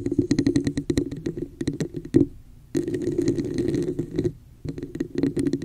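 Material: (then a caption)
Plastic. Long nails tap and scratch the sides of a hollow red plastic cup with an embossed pattern, held over the mic. Quick, dry taps with a hollow mid-pitched resonance come in dense bursts, alternating with a steady stretch of raspy scratching and brief near-silent pauses.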